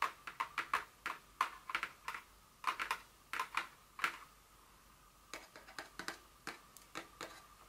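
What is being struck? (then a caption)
Paperboard perfume box. Long nails tap a small printed paperboard Dior fragrance box lying flat on a table. About 25 quick, dry, clicky taps come in irregular bursts, with a brief pause in the middle, each tap ending fast with a faint papery ring near 1 kHz and a bright top edge.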